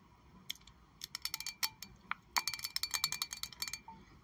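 Long acrylic nails tap on a rectangular glass perfume bottle with pink liquid inside and a metal cap. The taps are sharp, bright clicks with a brief high glassy ring. They come in sparse, irregular bursts that grow faster and denser toward the end.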